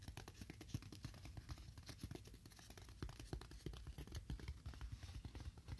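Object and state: Styrofoam block.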